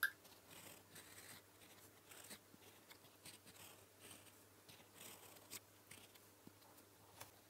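A gold metal fountain pen nib writes blue-ink letters on a flat sheet of lined paper, heard in close-up. It makes soft, dry scratching strokes with brief bright ticks as the nib moves and lifts, over a quiet background hum.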